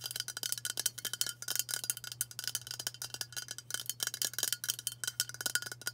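Long nails tap rapidly on a hollow, white aluminium Dove aerosol deodorant spray can, producing a fast stream of short, bright metallic clicks and pings with almost no ring. A faint steady low hum sits underneath.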